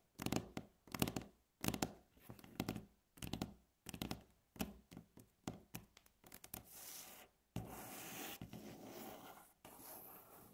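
Long natural nails tap, scratch and rub across a solid, light wooden tabletop. Short, dry bursts of tapping and scratching repeat at an uneven pace before giving way to longer, continuous rubbing strokes with a bright, hissy texture.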